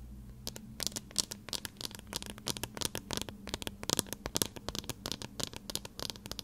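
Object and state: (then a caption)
Metal-frame eyeglasses. Thin metal wire-frame eyeglasses with lenses are held in both hands in front of a recorder and tapped and scratched with fingertips and nails. Rapid, dry, bright clicks and scratchy ticks come in uneven bursts over a faint steady low hum, each tap dying away almost instantly.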